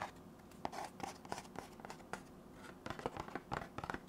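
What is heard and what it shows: A hollow, rectangular white cardboard box held in the hands has its flat face tapped and scratched with fingertips and nails. Quick, dry, papery taps with almost no ring are heard, joined by a soft scratching rustle. The taps come in an irregular series that grows busier toward the end, all at a quiet level.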